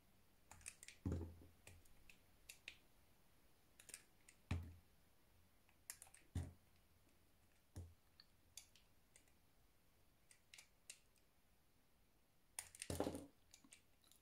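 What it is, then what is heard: Bar of soap being sliced. A metal knife with a blue handle slices thin strips from the surface of a solid white soap bar held in the hand. Quiet, crisp clicks and short scraping cuts come at irregular intervals, with a few louder, fuller strokes that carry a soft low thump. Each cut stops quickly, with almost no ring, against a near-silent background.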